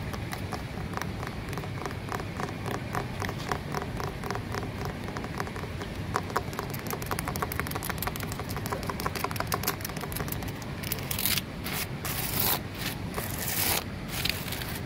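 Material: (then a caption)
Concrete. Long nails scratch and tap the rough surface of a large, solid grey porous concrete flower pot. The clip is a dense run of quick, crisp taps and scrapes over a low background rumble. Near the end, brighter, harsher scratches take over.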